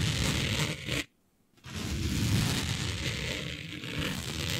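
Long nails scratch across a smooth synthetic fabric with a planet print laid flat, making a dense, rough scraping and rustling with a low, gritty body and bright hiss on top. The scratching stops for about half a second near the one-second mark, then resumes at a steady level until the end.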